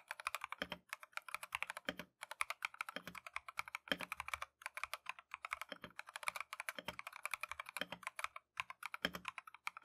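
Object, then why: Mechanical keyboard with plastic keycaps. A compact Keychron V1 mechanical keyboard with Tangerine switches and green and white plastic Matcha keycaps is typed on continuously with gloved fingertips. The result is a rapid stream of short, bright, dry keystroke clacks with almost no low end and no ring, broken by a few brief pauses.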